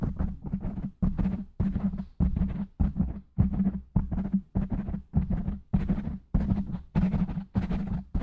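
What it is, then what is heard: Foam microphone windscreen being scratched and tapped. Fingertips of both hands rapidly scratch and tap on the top and sides of a black foam microphone windscreen. The result is a steady run of muffled, bass-heavy thumps and rustling scrapes in quick bursts, with a low hum under each one.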